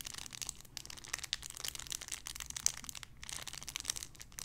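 A small clear plastic bag holding a soft pink-and-white paw-shaped squishy is crinkled and squeezed with fingertips and long red nails. The result is a steady, quiet stream of bright, dry crackles and crinkles, with a few sharper snaps standing out and no lingering ring.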